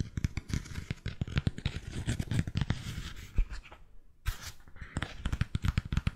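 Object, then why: Cork-soled sandal with straps. Fingernails scratch and tap on a white three-strap sandal with a cork footbed, working over the sole and straps. Quick, dry, close-up taps and scrapes run almost continuously with a thuddy low body and brief bright scratch edges, pausing for a moment near the four-second mark before resuming.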